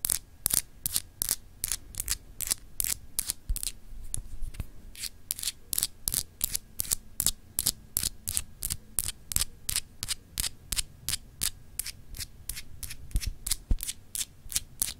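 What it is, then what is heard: Etched glass globe paperweight. Long acrylic nails scratch across a small, solid, clear etched glass globe paperweight in a steady run of several dozen quick, evenly spaced strokes. Each stroke is a short, bright, dry rasp that stops almost at once, over a faint low hum.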